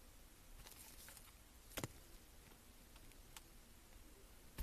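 A metal blade slices and carves a solid cream soap bar held in gloved hands. Faint, crisp scraping runs through a low background hiss, broken by a few sharp, bright clicks as the blade cuts through.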